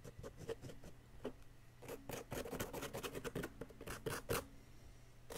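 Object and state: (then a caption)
Plaster block being scraped. A wooden chisel stick scrapes a solid yellow plaster excavation block again and again, producing repeated short, gritty scraping strokes with a mid-range rasp. The strokes come in uneven bursts, some brighter and louder than others, over a quiet low hum.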